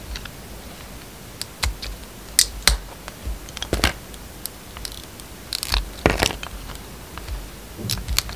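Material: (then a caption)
Soap. A yellow utility knife blade cuts and scrapes thin slices off a hand-sized bar of soap held in the palm, coated in black-gold glitter with a blue-white striped inside, while a second piece rests on the table. Short, crisp scraping and crackling bursts with bright, high edges break through a quiet, steady background, each dying away almost at once.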